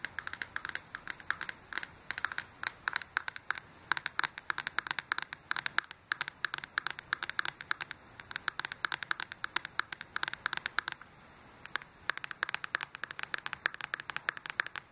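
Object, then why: Handheld game console with plastic body and glass screen. Fingernails tap and scratch quickly across the glass touchscreen and edge of a handheld Nintendo Switch with a plastic body, held in the hand. The result is a dense stream of sharp, dry clicks and scratchy rasps, bright and centered around 1.5 kHz with no low end. Brief lulls fall near the 6-second and 11-second marks.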